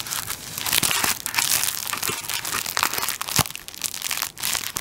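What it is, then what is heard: Plastic-wrapped tissue roll. Fingertips pinch, scratch and tap the clear plastic film wrapped around a tissue paper roll, held upright near the mic, working on the wrap at the top. The sound is a dense, continuous bright crinkling with sharp dry taps and crunches scattered throughout, and almost no low end.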